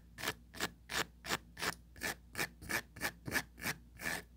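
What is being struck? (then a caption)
Plastic mesh tray. Four long pointed nails scratch rapidly back and forth across the fine grid mesh surface of a small, empty oval plastic tray. About a dozen evenly paced, bright raspy strokes come roughly three per second, each carrying a faint tone near 1.7 kHz and stopping short with almost no ring.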